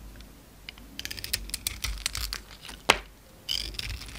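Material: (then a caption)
Soap. A utility knife blade scrapes and shaves the gold embossed coating and soap powder off a palm-sized, solid rectangular white bar of soap held in the hand. A quick run of short, bright, crackly scrapes builds to one sharp louder scrape, then ends in a longer hissing shave. Each scrape dies away almost at once, with little low end.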